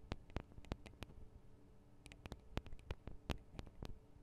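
Long acrylic nails tap on the tops of the small metal microphone capsules of a Tascam DR-40 recorder. An irregular series of short, sharp ticks with bright edges sounds over a quiet, steady low hum. Each tap dies away almost instantly.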